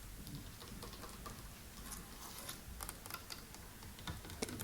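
Fingertips tap and scratch quickly on a white wall of stones set in concrete, beneath a brick arch overhead. The result is a steady, soft patter of light clicks with bright, sharp ticks standing out near the end.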